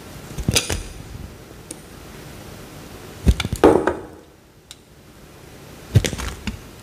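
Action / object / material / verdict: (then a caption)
scrape / bar of soap cut with a knife blade / soap / none. A utility knife blade slices through a small, solid peach-orange bar of soap, peeling off thin slices. Three bursts of crisp scraping and crunching come with short, dry low thuds, and faint clicks fall in the quiet gaps between the cuts.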